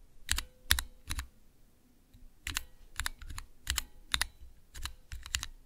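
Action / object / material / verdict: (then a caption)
tap / plastic mechanical key switch tester with clear keycaps / plastic / none. Keys on a small clear plastic Cherry MX switch tester, with transparent keycaps over red and green switch stems, are pressed one at a time with fingertips and long nails. Each press gives a short, crisp clack that is bright on top with a low thump underneath, ending almost at once. The presses come at an uneven pace, with a brief pause near the start before the clacking picks up again.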